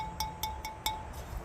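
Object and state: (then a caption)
Well-fired ceramic planter, rings clear (no cracks). A barrel-fired ceramic planter, just taken from the kiln, is flicked four times with a finger, each flick giving a clear, bright ring around 870 Hz that fades quickly. The clean ring shows no cracks and suggests the pot was fired hot enough.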